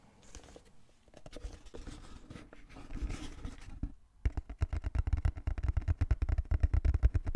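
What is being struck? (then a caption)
Small closed cardboard box. Fingertips scratch and tap on the surface of a small, closed, hollow brown cardboard box held in both hands. Soft, uneven scratching fills the first four seconds, then after a brief pause a fast run of dull, low, hollow taps takes over and grows louder toward the end.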